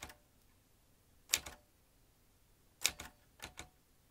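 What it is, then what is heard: Metal manual typewriter. Fingertips of both hands press the round keys of a vintage metal manual typewriter, swinging its typebars. Sharp, bright clacks come in loose pairs with short pauses between them, each dying away almost at once over a quiet background.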